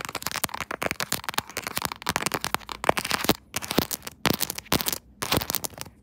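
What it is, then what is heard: Plastic phone case. Long nails of both hands tap and scratch across the back of a quilted pink soft-plastic phone case mounted on a tripod. The result is a rapid, dense stream of sharp, bright clicks and crackly scratches with very short ring, broken by brief pauses near the end.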